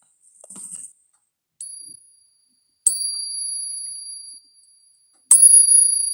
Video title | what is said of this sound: Assessing Capped Bust Halves, and talking about fake coins. | it has a real nice ring